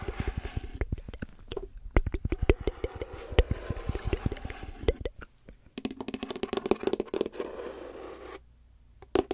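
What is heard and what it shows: Long nails tap and scratch the wooden sides and checkered wooden top of a closed, hollow folding chess box with a light wood frame, held upright. Quick, dull, low taps with almost no ring mix with soft scratching. The sound briefly drops out near the middle, and a quiet stretch near the end is broken by a few final taps.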